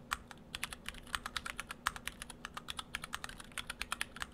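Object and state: Mechanical keyboard with plastic keycaps.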